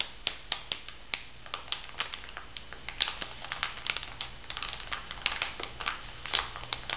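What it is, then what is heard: Plastic-wrapped makeup sponge packet, tapped and crinkled. A plastic-wrapped makeup sponge pack on a paper card is held in the hands while fingertips and nails tap and crinkle the plastic film over the foam. A steady run of sharp, bright clicks and crackles, each very short with almost no ring, plays over a faint low hum.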